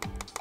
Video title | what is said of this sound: MAINAN APA COBA INI??? UNBOXING URBAN TOYS POP MART X KENNYSWORK "MEGA SPACE MOLLY SOFT DRINKS"!!! | bukan plastik ya tapi lebih ke arah pvc dan dia kopong jadi bunyinya nyaring tuh ya